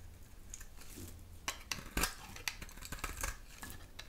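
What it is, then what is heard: Dry bar soap being shaved. A dry, solid oval soap bar with a pink interior and black rim is held in the hand and shaved with a metal utility knife blade, curling off pink flakes. Crisp, bright scraping strokes crackle over a low background rumble, with sharper snaps as the blade bites.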